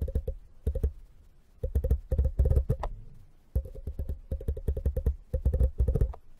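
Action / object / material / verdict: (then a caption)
tap / wire mesh tea strainer / metal mesh / none. A thin copper-colored metal pick scratches and taps across a small, hollow, empty, dome-shaped brass-colored wire mesh tea strainer with a metal rim, resting on a foam mic cover. Quick, dry clicks come in rapid bursts separated by short pauses, each with a soft, low thump and almost no ring. Faint bright ticks sit over the dull, muffled taps.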